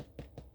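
Three taps on the crust of a freshly baked pepperoni bread loaf give short, dull, low thuds that die away quickly. The hollow knocks are tapped as a doneness check and show the loaf is pretty much baked through.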